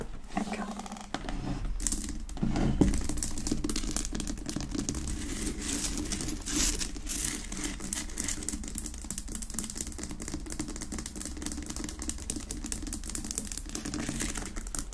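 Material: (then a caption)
Rock salt. Long acrylic nails tap and scratch fast across the rough surface of a large, solid pink Himalayan rock-salt lamp resting unlit on a wooden base. The result is a dense, irregular stream of quick clicking taps and gritty, crackly scraping with a bright edge over a fuller low body, holding a fairly steady level throughout.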